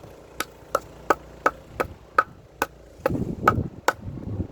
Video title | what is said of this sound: SEASONING FIREWOOD - HOW TO TELL IF YOUR WOOD IS DRY | Now with these dry logs, very high pitched sound.